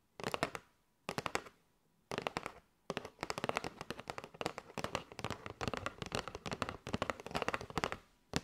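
Long nails tap rapidly on a window-fronted kraft cardboard box full of paper straws. Quick bursts of dry, bright clicky taps are broken by short pauses, then settle into a long, nearly continuous stretch of fast tapping. Each tap stops at once with no ring.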